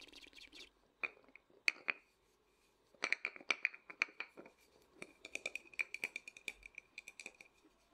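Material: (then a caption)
Lacquered wood. Fingertips and short nails tap and scratch the lacquered surface of a small, hollow, painted wooden matryoshka nesting doll held in both hands. The result is quick, dry, bright clicks and scratches with a faint hollow ring around 2.5 kHz. They come in irregular fast bursts separated by brief pauses.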